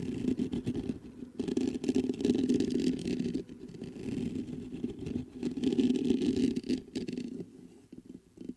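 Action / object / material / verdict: scrape / metal condenser microphone / metal / none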